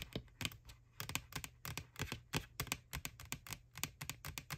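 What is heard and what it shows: Long nails tap and scratch the side of a white, hollow plastic McDonald's Boo ghost Halloween bucket. About 25 quick, dry, clicky taps land in uneven bursts, each with a bright edge and a faint, low, hollow thump. Light scratching fills the gaps between them.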